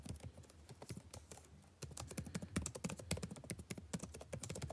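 Fingertips type continuously on the blue-backlit plastic keycaps of a dark laptop keyboard, making rapid, short clicky taps with a low thump and bright edges. The typing is softer for the first second and a half, briefly pauses, then returns louder and denser to the end.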